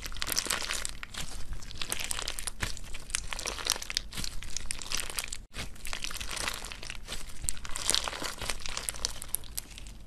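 A hand-sized clump of clear orange slime packed with soft, solid gel water beads is kneaded and squeezed by the fingertips and thumbs of both hands. Dense, crunchy, crinkling squishes pop continuously with a bright crackle over a low rumble, and there is a brief break just past five seconds before the squeezing resumes.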